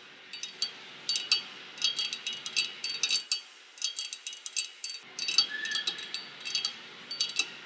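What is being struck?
Glass door pane.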